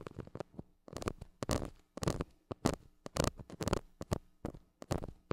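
A flat white plastic stick scratches the hollow metal mesh grille of a small gold mini microphone. Short, irregular bursts of dry, crackly scratching come in quick succession with brief gaps between them. The sound is close and heavy in the low end, with little high ring.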